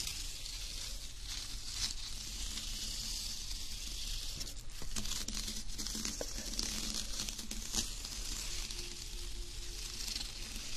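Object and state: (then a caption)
Embossed metallic foil sheet. A flat, thin sheet of embossed silver foil paper is scratched and rubbed with fingernails. Continuous bright, crinkly scratching and rustling hiss runs throughout, with sharper crackles poking out and a low steady rumble underneath.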